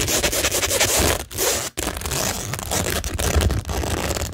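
Long nails scratch across a framed tingle board made of a rhinestone mesh sheet and pearl stickers on flat, solid cork. It sounds like a dense, continuous gritty scraping and crackling with bright, zipper-like rasps over a low rumble, broken by two brief pauses.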